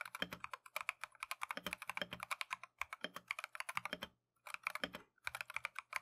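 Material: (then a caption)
Plastic. A compact Keychron V1 mechanical keyboard with Tangerine switches and green and white Matcha plastic keycaps is typed on continuously with gloved fingertips. The result is rapid, crisp, bright clacks with very short decay, broken by two brief pauses near the end.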